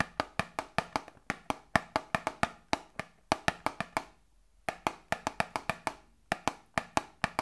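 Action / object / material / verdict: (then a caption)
tap / small cardboard box / cardboard / none. A small, hollow cardboard Grippostad medicine box is tapped with long nails, giving 33 quick, dry, hollow knocks with a woody, mid-pitched tone. The taps come in fast, uneven runs, with a brief pause about halfway through before the tapping resumes.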